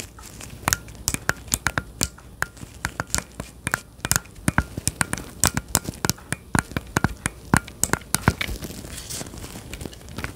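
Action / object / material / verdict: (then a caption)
tap / plastic handheld controller grip / plastic / none. Gloved fingers tap and press the buttons on a hollow, handheld-size plastic Nintendo Switch Joy-Con controller grip held close to the microphone. Dozens of short, sharp plastic clicks and crackly taps come in an irregular rhythm, each with a dull low thump and a bright edge that dies away almost instantly.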